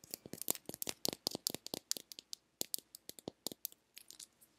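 Long nails tap and scratch the shell of a small, hollow, pink plastic egg-shaped lip balm container. The result is a rapid run of sharp, dry, bright clicks with scratchy textures and almost no ring. The taps thin out and grow softer toward the end.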